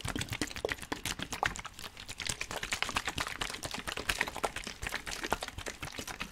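A clear, hollow plastic water bottle, partly filled with water, is held in both hands close to a microphone and squeezed and crinkled with the fingers, with the water inside possibly sloshing. A dense, continuous stream of sharp, bright crackles and clicks follows one after another, each dying away almost instantly.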